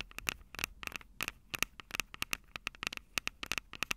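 Long acrylic nails tap and scratch the mic capsules of a Tascam DR-05 handheld recorder, which has a plastic body and metal mic grilles. The result is a quick, irregular run of sharp, bright clicks with a dry scratchy texture, centered around 2.7 kHz. Each click dies almost instantly, with very little low end.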